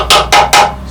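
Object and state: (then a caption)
Hollow rusted steel car chassis. A hammer taps three times on the rusted steel chassis base of a Triumph car, each strike giving a bright, hollow metallic knock with a short ring around 820 Hz. The hollow sound marks the rusted section as bad, and that section is to be replaced.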